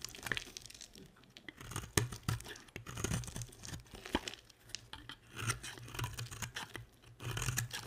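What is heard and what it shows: A box-cutter blade scrapes crumbly shavings off a solid, dry, hand-sized green and white striped bar of soap. Rapid dry crunches and crackly tearing scrapes come in uneven bursts, with bright crisp edges over a soft low thud.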